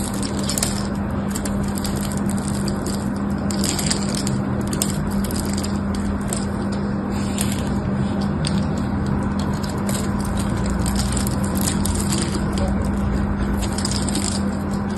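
A solid pink bar of soap, held in one hand with long orange nails, is carved with a small metal knife so flakes and cubes break off. The clip is a steady, dense scratching and crumbling texture with crisp bright crackles over a constant low hum, and the level stays even throughout.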